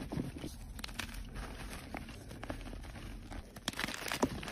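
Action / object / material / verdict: scrape / gym chalk block / magnesium carbonate / none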